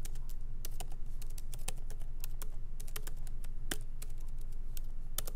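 Both hands type slowly with their fingertips on a MacBook Pro keyboard, whose low-profile plastic keys sit in a solid aluminum body. Irregular, short, bright key taps and clicks ring over a steady low hum.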